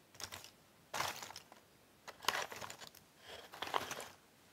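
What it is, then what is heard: Cardboard jigsaw puzzle pieces. Fingertips and nails stir and press a pile of cardboard jigsaw puzzle pieces in a box, making four bursts of dry, crinkly rustling with small clicks. The sound is bright and papery, with almost no low end, and quiet pauses between the bursts.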